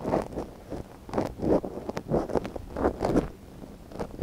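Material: Silicone.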